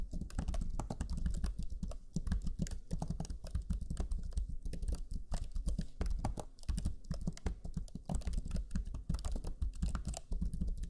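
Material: Plastic.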